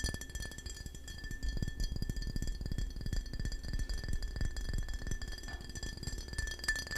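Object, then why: Glass bottle of kombucha. A full brown glass KeVita kombucha bottle of about 15 oz, with a black cap and paper label, is held in both hands and tapped with fingertips and nails. The rapid, irregular taps make dull, low thuds with light glassy clicks that die away almost at once.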